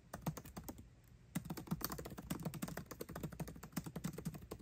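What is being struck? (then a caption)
Laptop keyboard with plastic keys. Fast fingertip typing on the keyboard of a 13-inch aluminium MacBook Pro with backlit black plastic keycaps, both hands tapping the keys continuously. Quick, dry, low clicks and thuds run in a steady stream with barely any ring, pausing briefly near the one-second mark before resuming.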